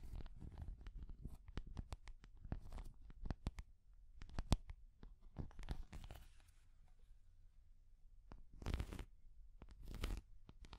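A small translucent orange hard plastic cat figure is tapped and scratched with long nails. Quick, dry, muffled taps with a low, thuddy body come in rapid uneven runs, broken by brief bright scratching bursts near the end. The whole clip stays quiet and close.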